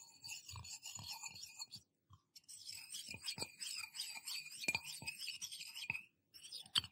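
A small, empty, hollow stainless steel tumbler is held in both hands close by while fingertips and nails tap and rub along its sides. The result is a dense run of bright, scratchy rasping with short, dry taps scattered through it, broken by a brief near-silent pause about two seconds in and another near the end.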